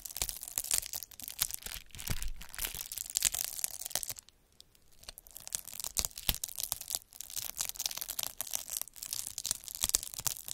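A metal-needle derma roller is rolled across a clear plastic bubble wrap sheet with air-filled bubbles, scratching the surface. Dense, bright crackling and scratching runs throughout, with a brief quiet pause around four seconds before it resumes.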